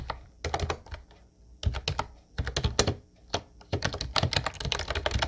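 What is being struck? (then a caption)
Plastic keyboard with round keycaps. Fingertips type on a light blue plastic Ubotie retro keyboard with round white keycaps. Quick bursts of clacky keystrokes, each with a low thump and a bright click, are separated by brief pauses.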